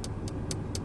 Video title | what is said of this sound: Nyobain: Mercedes Benz C230 Eleg. W204 Pre-FL - Beli C class bekas? Why not!? (Part1/2) | bahan plastiknya beda ya walaupun tetap Solid banget